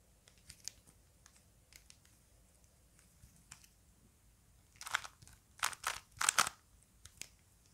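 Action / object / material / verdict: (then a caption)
scrape / plastic puzzle cube / plastic / none. A small plastic Rubik's cube is held in the hands while fingers twist its layers, producing sharp, dry plastic clicks. Sparse, quiet clicks come first, then louder, denser bursts of ratcheting twists in the second half. The sound is bright and thin with almost no low end, and each click stops short.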